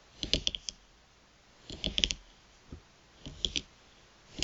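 Long pointed nails tap and scratch the surface of a thin plastic gift card lying flat on a mat. Sharp, bright clicks come in quick clusters separated by brief pauses, each dying away almost instantly with a crisp, high-pitched tick.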